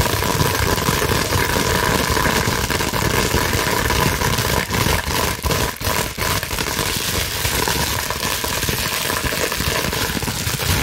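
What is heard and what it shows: A clear plastic bubble wrap sheet is scratched and squeezed with fingers and long nails. The result is a dense, continuous crackling rustle spread across low to bright frequencies at a steady level, with a few brief dips near the middle.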